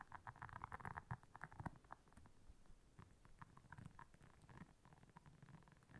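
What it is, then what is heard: Silicone scrubber pad. Long nails scratch across the soft bristles of a round, flat, blue silicone scrubber pad lying on black fur. Quiet, dense scratching and rustling mixes with soft low thumps and brief mid-range bursts, busiest in the first two seconds before settling into a softer, steady scratch.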